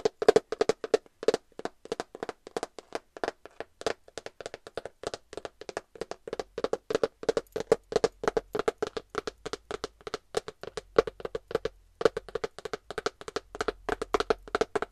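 Long nails tap rapidly and continuously on a flat glitter cardboard eyeshadow palette case. Each tap is a short, dry click with a hollow mid-pitched tone. The taps die away almost instantly.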